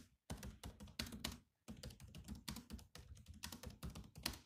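Fingertips type on the black plastic keys of a grey laptop keyboard, giving a fast run of clicky, short taps with a low thunk under a bright click. The keystrokes come in quick bursts with a couple of brief pauses, and each tap dies away almost at once.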